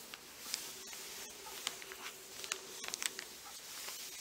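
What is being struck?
Folded paper map insert.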